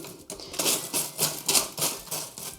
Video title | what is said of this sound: I made my own Twiglets & they're INCREDIBLE! (low fat pasta chips) | You can hear how crispy they are.